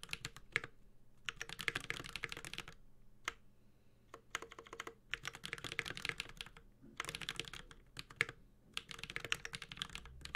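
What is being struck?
Mechanical keyboard with aluminum case and plastic keycaps.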